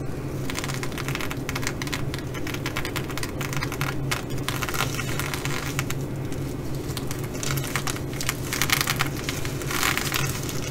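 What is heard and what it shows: Long fingernails on both hands scratch and tap across the sequins of a blue reversible sequin fabric bag. The result is a dense, continuous bright crackling and rustling with short clicks, over a steady low hum, growing slightly louder and brighter toward the end.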